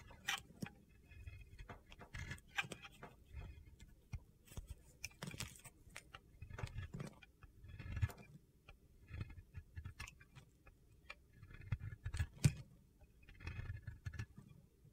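A metal box-cutter blade repeatedly scrapes and shaves the edge of a solid, palm-sized white bar of soap. Short, gritty, crunchy scraping bursts come in an irregular rhythm, each with a quick crackly attack that dies away almost at once. The sound is quiet and low-weighted overall, with brighter crisp flecks on the sharper cuts.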